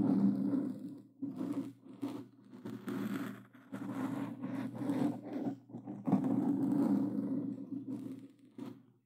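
Plastic claw gloves scratch a black foam windscreen on a Blue Yeti microphone, making rough, muffled scraping strokes in uneven bursts. The scratches sound close and brushy over a steady low, humming tone, with brief pauses between strokes.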